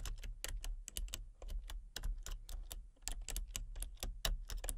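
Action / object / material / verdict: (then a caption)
tap / plastic computer keyboard / plastic / none. Fingertips and long painted nails type rapidly on a full-size backlit plastic computer keyboard with hollow key switches and colour-cycling RGB lights. A steady stream of bright, crisp clicky key taps plays over a constant low hum.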